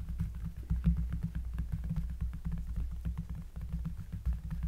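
Long, dark-polished nails and fingertips of both hands trace and lightly brush across a thick, solid, round cork trivet lying on a table. The sound is a low, bassy rumble that swells and dips, with many soft, quick ticks and scratches scattered over it and almost nothing high or bright.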